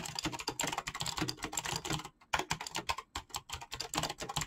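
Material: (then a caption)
PBT plastic. Fingertips type rapidly on a full-size backlit mechanical keyboard with PBT plastic keycaps, making a dense run of bright, crisp clacks that die away almost instantly. The typing pauses briefly twice before resuming at the same quick pace.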